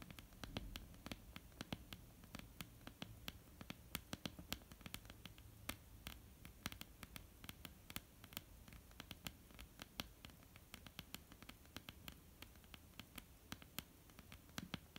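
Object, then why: Wooden tabletop. Long, almond-shaped painted nails on both hands tap a flat, solid wooden tabletop in a quick, irregular patter over a soft low hum. Each tap is a dry, sharp click with a bright edge that dies almost instantly. Dozens of light taps follow one another for the whole clip at a quiet level.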